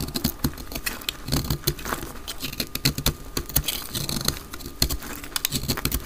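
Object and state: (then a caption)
Dry soap bar. A utility knife blade cuts flakes from a solid pink speckled dry soap bar held in the hand, played at double speed. Rapid, dry, crisp scraping clicks patter in quick succession, each short and sharp with a bright edge over a soft low rustle.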